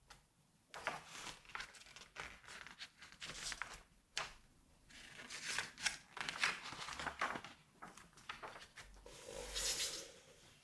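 Fingertips with painted nails turn the glossy paper pages of a large, open September 1986 Vogue magazine and rub across them. The result is a series of bright, crinkly paper rustles and page-turn swishes, with short quiet gaps between them.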